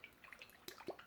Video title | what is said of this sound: The PolarRoller By GoFit | has some liquid in here I'm gonna shake it up hopefully you guys can hear that